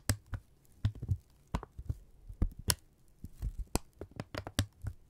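A thin strip of brown kraft paper is held in both hands, pushed together and pulled apart, then crinkled and rubbed with the fingertips. Sharp crackles and soft rustles come in irregular bursts over low, thumpy handling noise. The paper gives a dry, close crinkling texture throughout.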